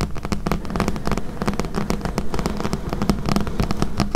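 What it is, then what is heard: Paperback book tapped and scratched with nails. Long painted nails tap and scratch the glossy card cover and edge of a thick, solid paperback book with paper pages, lying on a table. The result is a steady stream of rapid, dry, crisp clicks and scratches over a low, dull body with a faint low tone. Each tap dies away almost instantly.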